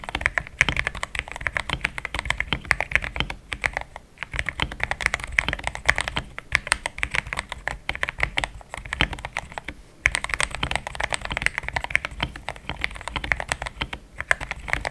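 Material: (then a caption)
Plastic. A compact pink-white mechanical keyboard with thick plastic XDA keycaps, a polycarbonate plate and linear switches sits on a desk mat and is typed fast with the fingertips of both hands. The result is a dense, steady stream of short, bright plastic clacks centered around 2 kHz, with brief lulls near 4 and 10 seconds.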